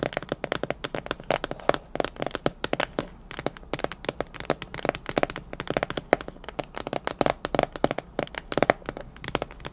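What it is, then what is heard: Plastic food container. Long nails tap rapidly and continuously on the walls and clip lid of a clear plastic storage container partly filled with macarons. The result is a dense stream of sharp, dry, clicky taps with a hollow midrange tone and no ring after each strike.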